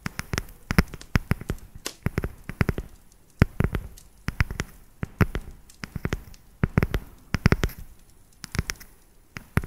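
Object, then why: Segmented dark chocolate bar. Long nails tap quickly across the ridges of a solid, segmented dark chocolate bar. The result is a rapid, irregular run of sharp, dry clicks with a low, dull body and almost no ring, coming in quick bursts separated by brief quiet gaps.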